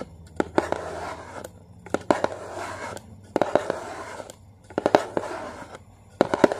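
Long painted fingernails tap and scratch the printed side panel of a small, hollow, yellow and blue Maggi cardboard soup box held in hand. Bursts of dry, papery scratching alternate with sharp, quick taps in clusters, separated by short quiet pauses. The sound is hollow and thin, with little low end.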